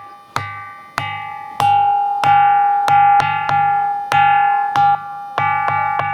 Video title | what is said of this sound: ఎంత బలంగా కొట్టినా..ఈ రాయి మాత్రం పగలదు - Nirmal Hills Musical Stone History -ABN Travel And History | మనం ఒక కంచును కొట్టినట్టుంది. సేమ్ కంచు శబ్దం వస్తుంది.